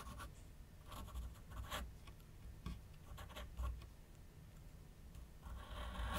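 A graphite pencil held in the fingers scratches and rubs across a large white paper sheet mounted on a flat board on a wooden easel while sketching outlines. Quiet, irregular bursts of dry, bright scratching strokes rise over a low, steady rumble, ending in a denser, louder stretch of rubbing.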